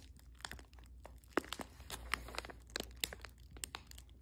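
A small, sealed, printed foil and plastic Squishmallows Mystery Squad blind bag with a toy inside is held in the hand and crinkled and rubbed with fingertips and long nails. Irregular bright crackles and sharp crinkly snaps rise over a soft rustle and a faint low hum.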